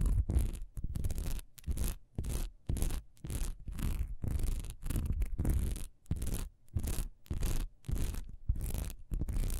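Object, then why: Textured wax pillar candle. Long nails scratch fast across the diamond-textured surface of a solid, honeycomb-textured wax pillar candle lying horizontally. The result is a run of quick, dry scratching bursts separated by brief pauses, carrying a deep, thumpy low body under a bright, grainy rasp.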